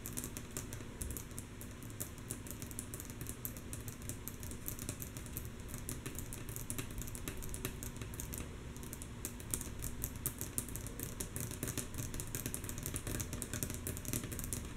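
Long natural nails of both hands tap rhythmically on a flat, solid, light wooden tabletop. The soft, rapid, continuous clicking has sharp, bright, dry ticks that die away almost instantly, over a steady low hum.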